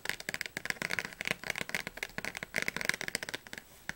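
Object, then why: Paperback dictionary with card cover, tapped with fingernails. Long nails tap rapidly on the spine and cover of a thick blue Oxford paperback dictionary. About twenty-two short, dry, bright clicks come in a quick irregular run, then a brief pause before one last tap.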